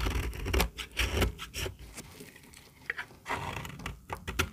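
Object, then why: Bar soap shaved with a metal blade. A small, solid, very dry white bar of soap is held in the hand and shaved with a metal utility-knife blade, and the flakes pile up on the table. Quick, dry scraping cuts come in irregular bursts, with brief crisp attacks and bright upper hiss over a low rumble.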